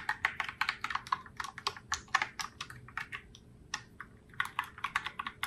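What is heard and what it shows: Fingertips with long nails type steadily on a pink Logitech Pop Keys Heartbreaker Rose mechanical keyboard, which has round plastic keycaps and sits in its open box. About thirty short, bright, clicky keystrokes come in a quick, uneven rhythm, each a crisp plastic tap centered near 1 kHz that dies away almost instantly.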